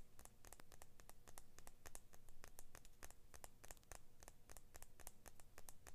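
Fingernails scratch and tap along the thin steel blade of small orange-blue handled scissors, while the free hand drops away. A quick, steady run of sharp, bright ticks and scrapes rides over a low, quiet rumble, each one dying out almost at once.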